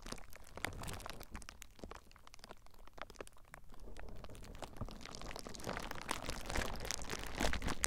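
Clear plastic bubble wrap wrapped around a recorder is squeezed by fingers and then scratched with fingertips. It makes dense, rapid crinkling and crunching with sharp, bright crackles over a low rumble, growing louder toward the end.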